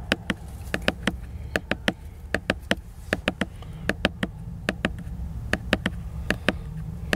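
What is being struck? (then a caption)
Glossy laminated hardcover book. A fingertip nail taps and scratches on the glossy laminated cover of a solid hardcover book lying flat. About 25 sharp, dry clicks sound in an irregular rhythm, each bright and dying away almost instantly, over a soft low rumble and faint scratching between the taps.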